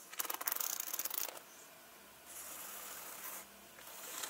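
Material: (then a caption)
Leather. Long nails and fingertips scratch and rub across the front panels of a turquoise leather handbag with front zip pockets and gold hardware, lying flat on a table and not visibly full. A dense, bright burst of crackly scratching lasts about a second, then after a short quiet gap come softer, steady hissing rubs that fade and return.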